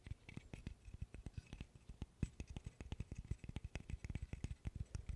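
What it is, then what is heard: Wooden burr puzzle. A small interlocking burr puzzle made of solid light wood sticks is handled with the fingers, its pieces clicking together and being tapped and scratched with the nails. The result is a quiet, rapid, uneven run of short, dry wooden clicks and taps with a dull low body, each dying out almost at once, with faint bright scratchy edges between them.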